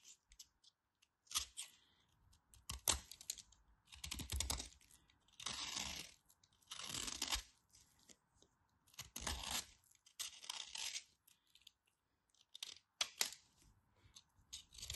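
A craft knife blade cuts and scrapes the surface of a solid white bar of soap, raising powdery shavings. Bright, dry scraping and crunching strokes come in bursts, separated by short quiet pauses, with faint tapping between them.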